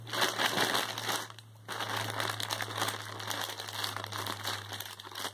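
A medium white plastic poly mailer, soft and filled with clothing, lies flat on a bed while fingertips and painted nails rub and press its surface. Continuous bright crinkling and crackling fills the clip, with a brief quieter pause near the middle before the rubbing resumes.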